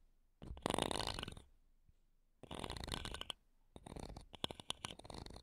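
A thin wooden toothpick, held in long-nailed fingers, scratches and taps the mesh grilles of two small silver metal microphones. Three bursts of dense, rasping scratching with bright hiss are separated by quiet gaps. The last burst is broken up by sharp, clicky taps.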